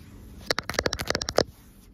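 Long acrylic nails scratch and tap across a soft green cloth with a white leaf-line print, lying loosely rumpled on a surface. After a quiet start, a quick run of sharp, dry taps and scratches with a bright papery rasp fills the middle of the clip, then fades back to near silence.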